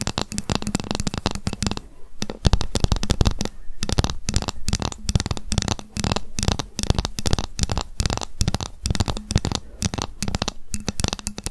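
A ruler is tapped rapidly, and at times scratched, with long fingernails. The sound is a dense stream of short, dry clicking taps with a low, hollow thump under each, broken by brief quieter gaps.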